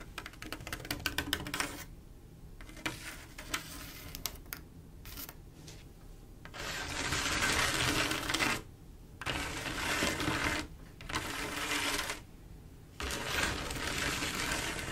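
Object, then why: Glass mosaic tile panel tapped and scratched with long nails. Long acrylic nails tap and scratch a large, solid, flat panel of silver mirror-like glass mosaic tiles. Quick, crisp clicking taps in the first seconds thin out to scattered taps, then give way to longer, bright, hissing scratch strokes separated by short pauses.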